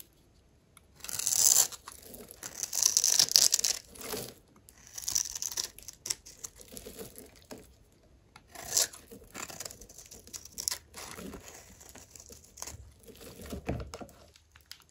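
A metal blade cuts and scrapes small cubes off the face of a solid, rounded bar of dry yellow soap held in the hand. Irregular bursts of crisp, bright scraping and crunching follow one another with short quiet gaps, with almost no low end.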